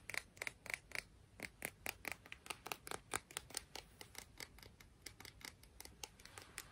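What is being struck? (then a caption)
Piece of sea glass. A piece of sea glass is tapped and scratched in a quick, steady series of roughly thirty short, crisp clicks. The sound is bright and quiet, with almost no ring after each tap.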